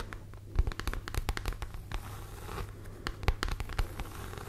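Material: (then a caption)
Leather. Long nails scratch across the textured front panel of a medium, structured, hollow red pebbled grained leather (or faux leather) handbag held close to the microphone. The result is a run of short, dry, crackling scratches with brief low thumps and a steady low hum underneath, the clicks sharp and quickly gone.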